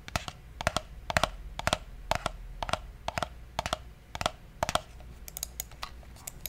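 A black, hollow, wired plastic computer mouse is held in one hand close to the microphone while fingertips click and tap its buttons. About 22 sharp, dry clicks, often in quick pairs, come at an uneven pace over a quiet background. Each has a short plasticky knock with bright high edges.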